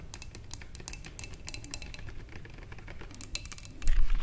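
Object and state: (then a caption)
Glass vase. Long fingernails on both hands tap the sides of a wide clear glass vase holding tulips. The taps are quick, light, bright clicks over a low steady rumble, each fading almost at once. Near the end the sound grows louder and denser.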